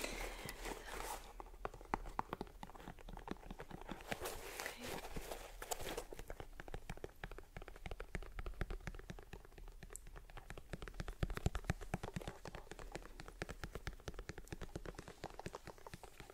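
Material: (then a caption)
Leather. Long nails tap and scratch the perforated leather toe box and rubber sole edge of an empty white leather sneaker held close in one hand. The result is a dense run of quick, dry clicks and scratchy rustles over a low steady hum, with little ring after each tap.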